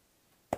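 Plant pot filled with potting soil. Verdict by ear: Wet.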